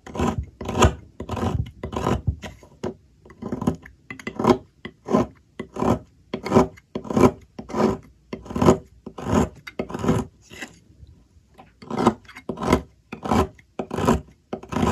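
A metal blade scrapes shavings off the remaining end of a solid blue bar of soap held in the fingers, cutting on a table. It makes a series of short, dry rasping strokes at an uneven pace of roughly one and a half per second, each a bright, papery scrape with a soft low thump underneath and almost no ring afterward.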